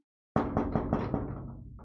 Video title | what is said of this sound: Deep Learning-based Acoustic Sensing for Orthopedic Interventions - Dr. Matthias Seibold | a person knocking on metal and you can probably even say this thin sheet of metal because of the vibrational characteristics